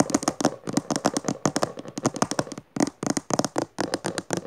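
Long dark nails of both hands, then one hand, rapidly tap and scratch the textured maroon cover of a closed, solid hardcover book resting on purple fabric. About 28 quick, dry taps with a low-mid knock come in uneven bursts, mixed with short bright scratching and two brief pauses. Each hit dies away almost instantly with no ring.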